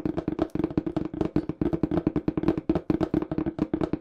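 Fingertips tap fast on the faces of a small brown cardboard shipping box with a black printed smile logo, which is hollow and looks empty. A rapid, uneven string of short, dry, hollow knocks with a low-mid thump around 300 Hz dies away almost instantly after each hit.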